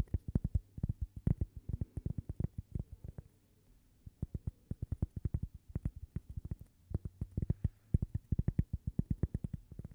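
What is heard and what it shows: Long painted fingernails rapidly tap a single flat, solid, palm-sized cork coaster shaped like a slice of toast, held close to the mic. Dozens of soft, dull, low thuds come in quick bursts, each dying away almost instantly, with a brief pause partway through before the tapping resumes.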